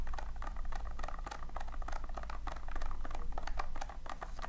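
Long nails scratch and rake repeatedly through a tin full of loose, small polystyrene foam beads. The result is a dense, crackly patter of tiny dry clicks and rustles, with a steady low hum running underneath throughout.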